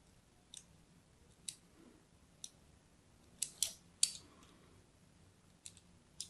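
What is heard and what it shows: A thin blade scores a crosshatch pattern into a solid purple-and-white striped bar of soap held in the hand. About eight short, crisp, high-pitched scratching cuts come at irregular intervals, each fading almost instantly, over a faint low hum.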